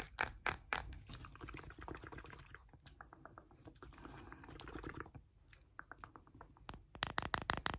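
A small glass perfume bottle filled with amber liquid and bearing printed lettering is tapped and scratched rapidly with short nails, held close. Bright, sharp clicks and taps come in quick, uneven bursts with softer scratchy rustling in between, ending in a cluster of louder taps.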